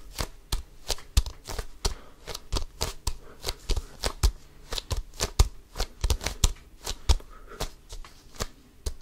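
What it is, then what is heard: Composite leather basketball. Fingertips grip and scratch the pebbled composite leather surface of a full-size, inflated, hollow Wilson Evolution basketball. A rapid, uneven series of short, dry scratches and taps is heard, each a crisp broadband burst with a low hollow thump and a bright, gritty edge that dies away almost instantly.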